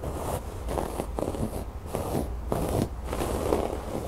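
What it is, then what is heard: Embroidered fabric cushion. Fingernails scratch and pick at the raised brown cord embroidery on a cream fabric cushion. Dry, scratchy bursts come in quick repeated strokes over a steady low rumble, with most of the sound in the low and middle range and little high-end brightness.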